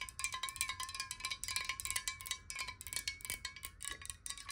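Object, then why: Glass bottle partly filled with water. A clear, hollow, square glass water bottle, partly filled with water and held sideways, is tapped rapidly with long nails. The result is a fast, uneven patter of bright, sharp clicks over a steady glassy ringing tone around 1 kHz, with higher ringing overtones.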